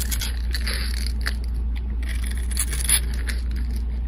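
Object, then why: Bar of soap scraped with a metal blade. A flat metal blade scrapes the grid-scored surface of a solid pink rectangular soap bar held in the hand, shaving it off into small cubes. Bright, crisp scraping bursts come and go over a steady low hum that stays at an even level throughout.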